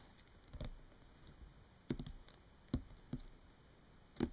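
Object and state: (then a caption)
Paper book pages. Long fingernails of both hands tap and scratch the printed paper pages of an open paperback book. Soft, dry clicks and brief papery scrapes come in scattered bursts over a quiet background hiss. Each touch dies away almost instantly.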